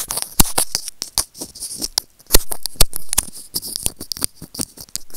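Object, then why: Small hollow plastic earphone remote scraped by plastic tweezers. Serrated-tip white plastic tweezers scratch and rub the scratched surface of a small, hollow white plastic in-line remote on Apple earphones held in the fingers. The result is a quick, irregular run of sharp, dry clicks and bright scraping rasps, with a few louder snaps standing out.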